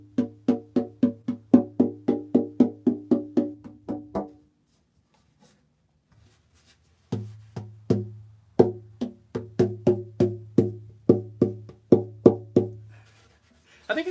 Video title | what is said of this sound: Wednesday Live | of course I've got, tape on there and stuff, but I mean, it rings